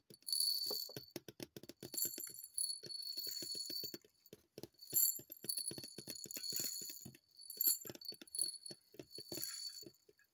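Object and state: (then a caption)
Small plastic bottle tapped with nails. A small, hollow white plastic cosmetic bottle with a printed label is held upright and tapped by long purple nails. The result is a quick run of light, crisp clicks with a bright, jingly sheen and almost no low end. The taps come in busy flurries separated by brief pauses.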